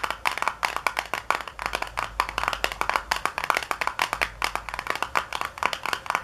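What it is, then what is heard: Cardboard box. Long nails tap fast on the back panel of a small, hollow white paperboard box resting on a counter. The result is a rapid, uneven stream of dry, papery clicks that die away almost at once. They center around 1.2 kHz with a bright top and almost no low end.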